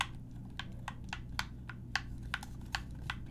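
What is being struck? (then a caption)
Hard plastic gamepad buttons. Long decorated nails and fingertips press and click the face buttons and thumbsticks of a black, hollow, hard-plastic handheld gamepad held in both hands over a desk, with a keyboard sitting idle nearby. Short, sharp, bright plastic clicks land at irregular intervals, each dying away almost instantly over a steady low background hum.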